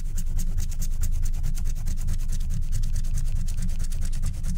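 A wooden stylus scratches the black wax coating near the top edge of a flat scratch-art card in quick strokes while a hand holds the corner. A steady run of rapid, bright, raspy scratches repeats at an uneven pace over a constant low rumble.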